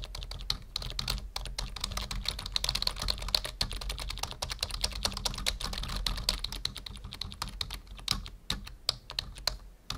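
Fingertips type steadily on a full-size black plastic membrane keyboard resting on a wooden desk, producing a rapid, continuous stream of short, dry key clicks. The keystrokes are bright and snappy with almost no ring, over a faint low hum.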